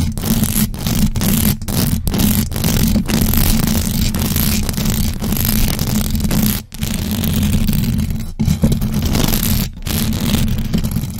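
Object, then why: Metal mesh microphone grille scratched by fingernails. Long acrylic nails on both hands scratch fast across the hollow metal mesh grille of a large black USB microphone. The result is a loud, dense, continuous scratching roar, heavy in the low end with a steady tone around 227 Hz and bright hiss on top. Brief silent gaps break it where the nails lift off.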